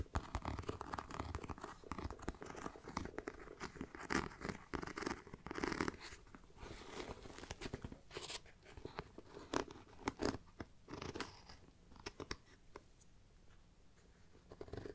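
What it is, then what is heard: Faux leather backpack. Long nails scratch and tap the top and sides of a hollow black pebbled faux leather mini backpack. The grained surface gives dense, crackly scratching broken by sharp taps. The sound grows sparser and quieter toward the end.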